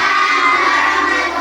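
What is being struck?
Nothing is struck.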